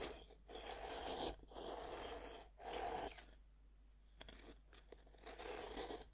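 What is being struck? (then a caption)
Pressed-powder bath bomb cut with a serrated knife. A serrated metal knife saws and scrapes across a fist-sized solid pink pressed-powder bath bomb held on a wooden board. Rough, gritty, bright scraping strokes come in bursts with brief pauses between them, and a quieter, softer scraping stretch sits in the middle.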